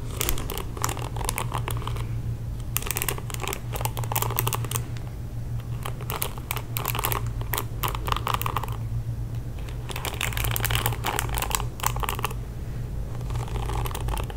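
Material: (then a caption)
Plastic. Fingertips and nails scratch the bristles of a pink plastic paddle hairbrush held close to the mic, making dense bursts of bright, crackling clicks in short spells separated by brief pauses. A steady low hum runs underneath throughout.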